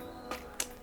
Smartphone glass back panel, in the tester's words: kayak suaranya tuh kayak sedikit ... Kosong gitu